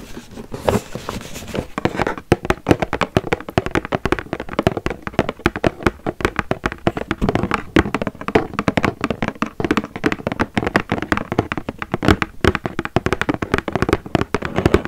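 A square, printed cardboard box of a cappuccino product is held in the hands and tapped rapidly with fingernails. The result is a dense, continuous flurry of short, dry clicking taps with almost no ring, lasting about fifteen seconds.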